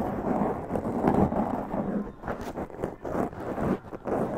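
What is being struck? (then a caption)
Foam microphone windscreen. Long press-on nails scratch a black foam windscreen on a large condenser microphone. The result is a close, muffled rustle of dense, uneven scratching bursts that swell and fade. The energy sits mostly in the low and middle range, with no bright top.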